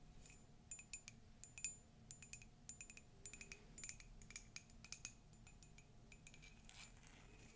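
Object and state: Ceramic mug.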